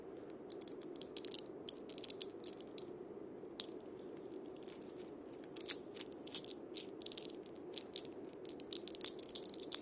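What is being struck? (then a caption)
Cabasa with steel bead chains on a wooden body. A wooden cabasa with steel ball-chain loops, held upright by its handle, is twisted against the palm and fingers. The steel beads give a dense, bright ratcheting scrape in quick, uneven bursts over a soft steady rustle, each burst stopping dead with no ring.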